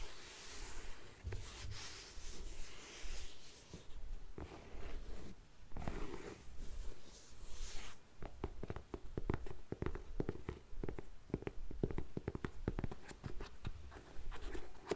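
Long nails scratch and rub the suede upper of an empty grey faux suede lace-up ankle boot. The first half is a soft, breathy scuffing hiss in slow sweeps. It then turns into quick, dry, irregular scratches and taps with no ring.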